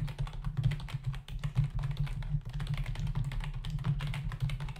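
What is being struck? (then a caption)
Plastic membrane computer keyboard. Fingertips of both hands type rapidly on a full-size black plastic membrane keyboard with hollow keys resting on a dark desk. The result is a fast, continuous stream of hollow, dull tapping clicks with a low thudding body and very short decay.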